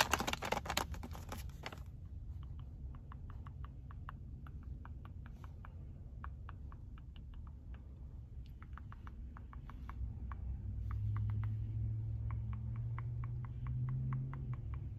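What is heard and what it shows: A medium, seemingly full Bear Naked granola stand-up plastic snack pouch sitting in a car console is tapped and pressed with fingertips and nails. A loud crinkly burst opens the clip, then quick, light, dry clicking taps continue steadily over a constant low rumble that swells slightly near the end.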